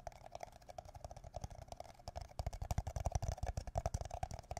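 An empty, hollow, thin-walled red plastic party cup is held upside down above the microphone with both hands and tapped with the fingertips and nails. The quick, irregular taps make deep, dull thumps with a hollow mid-range ring and faint crisp clicks from the nails. The taps grow louder and more pronounced in the second half.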